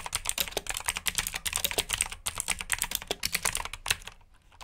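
Fingertips type steadily on the keycaps of a black backlit plastic mechanical keyboard with blue switches, making a rapid stream of sharp, bright clicks. The typing pauses briefly near the middle and trails off at the end.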